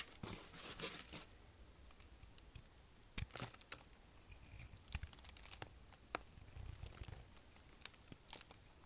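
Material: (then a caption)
Soap. A kitchen knife shaves chips off the corners of a solid, dry green bar of soap, now carved down to a narrow block and held in the palm. Crisp, dry scraping and crunching cuts ring out, each a short, bright crackle with a quick snap, followed by quieter rasping between strokes.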